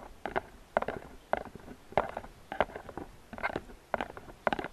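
Fingernails tap the sides and scratch the rim of a medium, hollow gift box made of flower-printed paperboard. Quiet, dry clusters of quick taps recur at a steady pace, each with a hollow mid-pitched knock and a brief papery scratch, then die away almost instantly.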